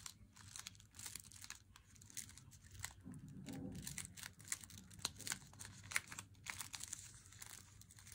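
A solid, unopened Lindt Swiss Classic dark chocolate bar in its glossy paper wrapper is held in both hands and squeezed and scratched. The wrapper gives a steady run of dry crinkling and crackling with sharp high ticks, and a brief low rustle around the middle.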